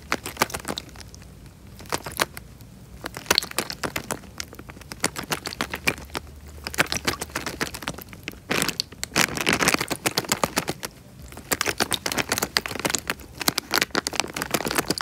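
A small clear plastic bag full of water is squeezed by the fingertips, giving a rapid stream of sharp, bright crinkles and crackles with soft sloshing of the water. The squeezing grows denser and louder for a few seconds in the middle, over a faint, steady low hum.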